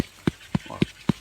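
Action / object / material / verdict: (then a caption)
tap / jackfruit / fruit / less ripe. A second jackfruit is tapped for comparison, giving four short, dull low thumps centered around 190 Hz with almost no ring. It is a bit younger and less ripe, so it is ready to be picked and eaten.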